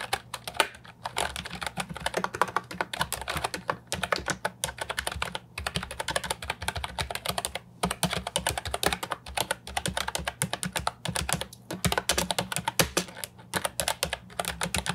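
Fast fingertip typing on an Ajazz 308I, a compact hollow plastic keyboard with round typewriter-style keycaps. It produces a dense, continuous stream of short, crisp clacks with bright edges over a steady low hum, with only a few brief pauses.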